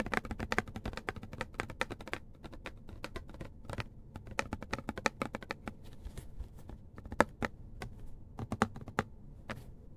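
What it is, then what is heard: Plastic pump bottle. A medium white plastic pump bottle, hollow with its fill level not visible, is held in the hands and tapped on its body with the fingertips. Quick, irregular, dry taps fall in dense flurries with brief pauses, each click short with a soft, hollow low thump and a bright tick and almost no ring. The result is a steady, quiet pattering much like typing on a keyboard.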